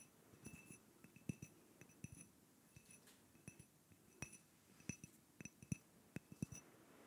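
A small, hollow clear glass cup or votive holder with a little pink content at the bottom is held close to a microphone and tapped with fingertips and nails, while a thin stick is also held in the hand. Irregular soft taps and light clinks follow one another, each pairing a dull low thump with a brief bright glassy ping that dies away almost at once.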